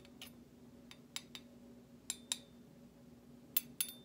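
A metal utensil handle taps and scrapes against the bowl of a large stainless steel slotted serving spoon with a decorative cut-out pattern. Eight short, bright metallic clinks ring briefly, some in close pairs. A faint steady hum sits underneath.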